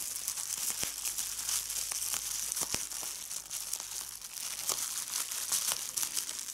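Fingertips with red nails squeeze a sheet of clear plastic bubble wrap, popping the bubbles. A steady, bright crinkling rustle runs throughout, punctuated by short, sharp pops that die away almost instantly.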